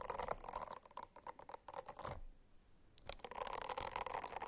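A silicone-covered notebook is scratched with the nails, giving rapid, uneven bursts of dry, rasping scratches with a mid-range tone around 660 Hz and bright edges. The scratching pauses briefly in the middle, then resumes more densely until the end.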